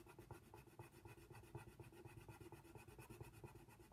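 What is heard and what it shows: A wooden colored pencil held in the fingers shades a giraffe's mouth on a thin white paper coloring book page lying flat on a table, using short back-and-forth strokes. The result is a quiet, steady, rhythmic scratching with a soft rubbing, low-weighted texture and brief repeated stroke peaks that end quickly without ringing.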